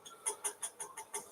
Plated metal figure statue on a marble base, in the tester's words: Hollow, yeah. Yeah, he is hollow. Okay, so he's plated.